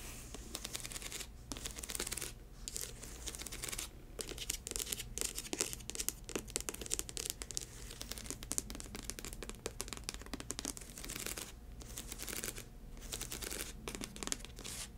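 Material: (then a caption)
Rubber. Long white acrylic nails scratch and tap across the thick black ridged rubber lug sole of an upturned boot. Dense, bright, crackly scraping is punctuated by many short, dry taps that stop instantly, over a faint steady low hum.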